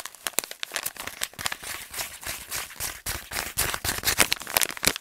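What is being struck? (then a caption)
Kraft paper stand-up pouch. A handheld light brown kraft paper stand-up pouch is crumpled and crinkled with fingers and nails. It makes a fast, continuous run of bright, crackly crinkles with many sharp snaps, mostly high in tone with little low end.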